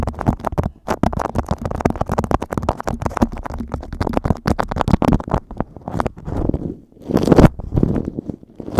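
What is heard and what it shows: A sheet of beeswax-coated cotton food wrap lies over a microphone while fingertips squeeze, scratch and crinkle the waxy fabric. Dense, rapid, dry crackles and scratches fill the clip with a heavy low body. Toward the end they give way to a few longer, swelling rubbing sounds.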